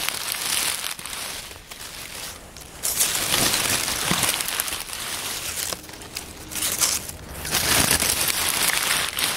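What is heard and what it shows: Hands crumple and press a heap of dry brown oak leaves on a wooden table with their palms and fingers. Bright, dense crackling and crinkling comes in uneven bursts, easing into softer rustling during two quieter stretches before swelling again.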